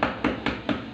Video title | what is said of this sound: ऐसे लगाए टाइल जो कभी ना गिरे - | ये जो ढोलक की तरह बज रहा है इसका मतलब ये अंदर से खाली है